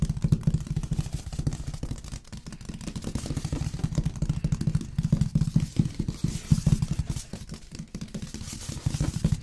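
Fingertips and nails of both hands tap and scratch the front face of a large, long printed cardboard box of LG sound system packaging, standing upright and hollow, likely with the product inside. A dense, steady stream of quick, dull, hollow thumps with a low boomy resonance continues throughout, with a faint dry scratching layered on top.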